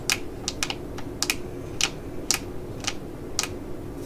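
A small, full, black laminated foil eye-patch pouch is held in the hands and tapped and crinkled with long nails. Sharp, bright clicky taps and crinkles come at an irregular pace over a faint low hum. Each tap is short with almost no ring.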